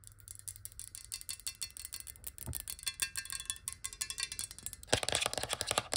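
A clear, hollow glass water bottle, partly filled with water and held sideways, is tapped rapidly with long nails. The result is a fast, steady stream of bright, clicky taps with short, high glassy rings. Around the five-second mark the tapping becomes louder and denser.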